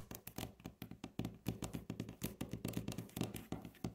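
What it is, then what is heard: Solid wooden tabletop. Long natural fingernail tips of both hands tap fast on a solid, light wooden tabletop. About 26 quick, dry taps follow in an uneven rhythm, each a low, woody knock with a bright clicky edge. Every tap dies away almost at once.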